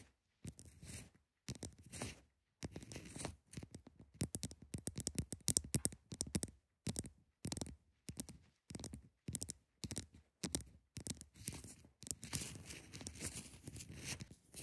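Long acrylic nails on both hands scratch the sides of a large, solid, clear ice block with a cracked face, resting on a textured cloth. Quick bursts of dry, bright scratching come in rapid clusters separated by short silences, each carrying a soft low body beneath the high hiss. The bursts grow denser and more continuous toward the end.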